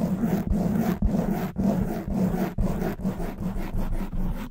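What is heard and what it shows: Long white nails scratch fast on both sides of a black foam windscreen, a hollow cover fitted over a silver condenser mic. The result is a dense, low, rumbling scrape in steady bursts with brief breaks between strokes, heavy in bass and muffled at the top.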